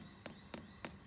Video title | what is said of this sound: Backyard Feeds S01E02: Wattleseed Damper | if it has a little bit of a hollow sound when you tap it